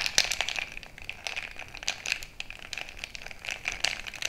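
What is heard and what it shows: A bamboo stick is jabbed and stirred into a frosted glass mason-jar mug full of crushed ice. It makes a steady run of quick, bright crunches and crackles with almost no low end. Sharp clinks ring out over the grinding of the ice.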